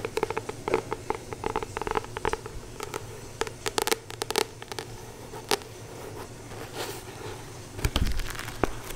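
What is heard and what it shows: Long painted nails tap and scratch across the glossy card cover of a solid paperback Acupuncture Points Handbook held in both hands. Quick, dry clicks and crackly scrapes come in dense flurries with short pauses, each tap dying away almost at once. A low hum sits underneath throughout.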